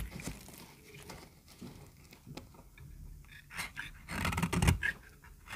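A small, solid, peach-colored bar of very dry soap is held in the hand and shaved with a metal utility-knife blade, and curls of soap fall away. Quiet, dry scraping and crisp shaving strokes repeat throughout, with a louder, rougher burst of cutting near the end.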